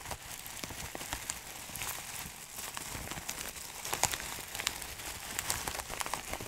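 Fingertips crinkle and squeeze a labeled clear plastic bag filled with small dried herb granules. The sound is a steady, bright crinkling hiss, broken by sharp, quick crackles that fade almost instantly, with little low end throughout.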